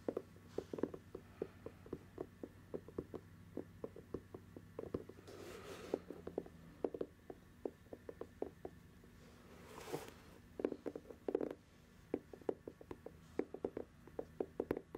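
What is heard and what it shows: Long nails tap and scratch the white treaded rubber outsole of an empty sneaker held in one hand in front of the mic. Dozens of quick, dry, close-up taps come in an uneven steady rhythm, with a couple of brief scratchy swishes across the tread. The sound is quiet and midrange with little bass, and a faint low hum sits underneath.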